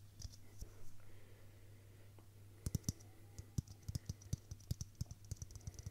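A hollow, hand-sized clear plastic Christmas bauble filled with pink tinsel is tapped repeatedly with fingertips and nails. Sparse, soft taps give way to a quicker run of short, sharp plastic clicks with bright ticks that die away almost instantly. A steady low hum sits underneath throughout.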